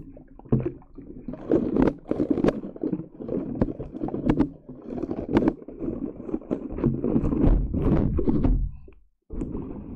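Long yellow acrylic nails tap and press into a thick layer of green putty slime wrapped over the top of a silver Blue Yeti microphone, squishing it against the metal mesh grille. Close, muffled, low squelches and soft sticky clicks follow one another in quick, uneven bursts, with a brief silence near the end before the squishing resumes.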